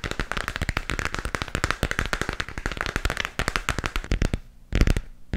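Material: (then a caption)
Plastic. Fingertips and nails tap rapidly on the textured surface of a glowing, hollow plastic moon lamp sphere. The result is a dense stream of short, dry, clicky taps with almost no ring. The tapping pauses briefly near the end, then resumes in a louder burst.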